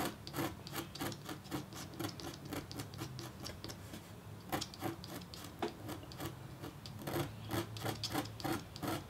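A red-handled metal stylus scratches fine hatching lines into a flat, thin, black-coated copper-foil scratch-art board while engraving a hummingbird. Quick, dry rasping strokes repeat in a steady rhythm, each a short bright scrape with a faint low body and almost no ring.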